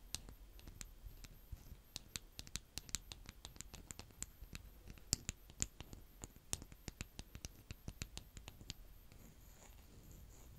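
Close-up of fingers with painted nails repeatedly cutting and scraping brown kinetic sand with a green plastic scoop. A quick, irregular series of sharp, bright clicks and crunches sits over a soft, grainy rustle. The clicks stop near the end, leaving a faint airy hiss.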